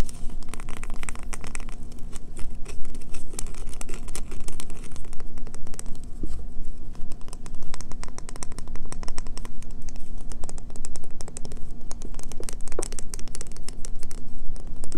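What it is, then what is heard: Bar of soap. A solid green bar of soap is held in both hands and tapped and scratched rapidly with long fingernails. The result is a dense, continuous stream of quick clicks and scratchy rasps with a steady low hum underneath, holding an even level throughout.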